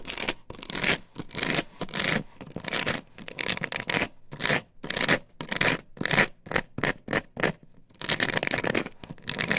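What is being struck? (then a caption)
Plastic stencil template on a wooden board. Long nails scrape and scratch across an upright plastic stencil template glued to a wooden board. Repeated rough, bright scratching strokes come in bursts of varying speed and force, with short pauses between them.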